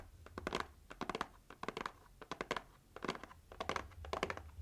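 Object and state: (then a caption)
Cardboard gift box tapped and scratched with nails. Long nails tap and scratch the lid and sides of a pink printed heart-shaped cardboard gift box held low in front of the chest. The sound is bursts of quick, dry clicks and scrapes in uneven clusters, with a papery body around 1 kHz and bright edges. A faint low hum runs steadily underneath.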